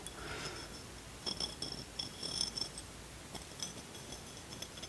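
Fingertips tap and scratch the surface of a brown amber glass beverage bottle with a paper label, about 25 cm tall, held upright in one hand. Quiet, clustered clicks and scrapes carry short, bright glassy pings that fade quickly over a soft hiss.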